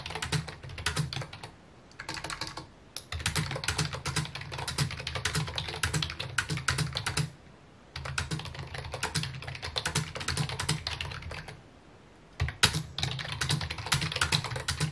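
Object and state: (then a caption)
Plastic computer keyboard. Fingertips type on a full-size white and mint plastic keyboard with hollow key housings resting on a wooden desk. Fast runs of bright clicky taps sit over a hollow low thump, broken by short pauses near 2.5, 7.5 and 12 seconds. Each key stroke stops short with almost no ring.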